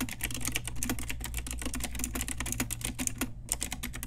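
Fast typing with long nails and fingertips on a pink Ajazz retro typewriter-style mechanical keyboard with round plastic keycaps. A steady, dense stream of sharp, bright clicks and clacks rides over a low, constant hum.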